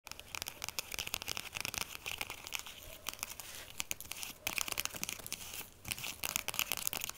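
A small jute/burlap drawstring pouch, packed solid with a bar of soap and wrapped in a paper label band, is scratched and tapped with long acrylic nails. The result is a dense run of bright, dry scratching and crinkling, with quick clicky taps throughout and almost no low end.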